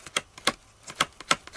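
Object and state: Thick stiff cardboard.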